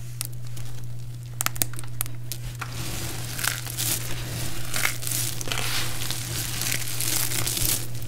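Fingertips with long painted nails pick up and rub pieces from a large heap of small, brittle, multicolored dried soap shavings, chips, spirals and balls, giving sparse sharp crackles. Then both hands scoop and crush handfuls, building into dense, bright, crunchy crinkling. A steady low hum runs underneath throughout.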